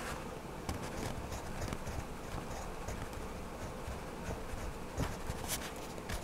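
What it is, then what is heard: Wax crayon rubbing on a paper page. A hand rubs a wax crayon over a paper coloring book page lying flat on a table while coloring in a small figure. The crayon makes a steady, soft, scratchy scraping with a low, heavy body and a faint high hiss, broken by a few sharper strokes.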